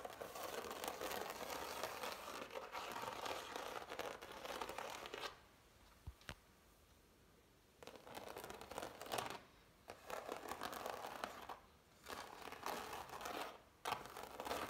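Long nails tap and scratch the thick, raised strokes of dried impasto oil paint on a framed canvas. The result is dense, crinkly scratching in bursts, broken by quiet pauses around 5–8 s and near 12 s.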